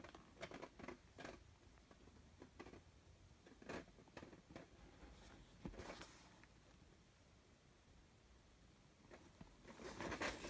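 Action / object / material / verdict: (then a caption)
tap / leather messenger bag / leather / none. Fingertips tap and scratch the brown embossed signature leather on the side panel of a soft, padded, medium messenger bag that appears empty. The result is quiet, dry, crackly scratches and soft pats in bursts separated by near-silent pauses, building to a denser bright scratching at the end.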